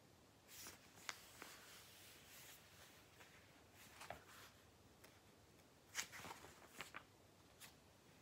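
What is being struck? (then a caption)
Glossy paper catalogue. Fingertips grip, flip, and rub the thin pages of a thick, glossy Argos paper catalogue held on a lap. Quiet, bright paper rustles and soft sliding swishes are broken by about six crisp, short page snaps that die away almost at once.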